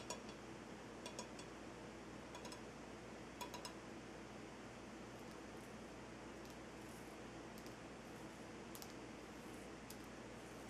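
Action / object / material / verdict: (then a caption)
tap / salt crystal lamp / rock salt / none. Fingertips and nails tap the side of a large, solid, lit Himalayan salt rock lamp, giving twelve light, bright clicks spread across the clip. The clicks are quiet and short over a steady low hum and hiss.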